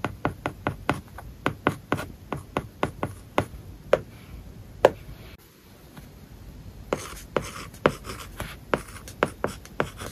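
A plastic-tipped stylus held in the fingertips writes English words on an iPad lying flat, its glass screen covered with a matte paper-like plastic film. The stylus makes continuous soft scratchy strokes punctuated by about 26 short, dry taps with a mid-range tone, with a quieter pause in the middle of the clip.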